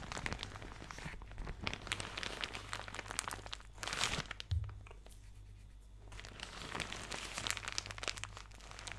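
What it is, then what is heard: Plastic shower cap crumpled. A thin, soft, empty white plastic shower cap with blue polka dots is held in both hands and crumpled and rubbed with fingertips and nails close to the microphone. It makes dense, bright crinkling and crackling over a steady low hum, with a brief louder crunch near the middle. The sound drops to a quieter stretch, then the crinkling builds again.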